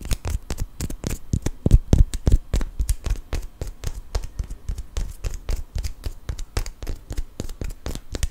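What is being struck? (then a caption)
Cork wine stopper. A small solid cork wine stopper is held upright and rolled while fingernails scratch and tap it. The result is a rapid, uneven series of short, dry clicks and scratches with a deep low thump under each, the taps heaviest around the second mark.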